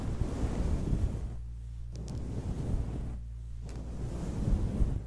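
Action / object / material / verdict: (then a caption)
scrape / synthetic-fur microphone windscreen / synthetic fur / none. A soft, grey, fluffy synthetic-fur microphone windscreen is rubbed, squeezed and plucked with long acrylic nails and the fingertips of both hands. The result is a deep, muffled, wind-like rumble concentrated in the low end, with a steady low hum underneath. Twice the brighter rustle briefly drops away before the rubbing swells back up.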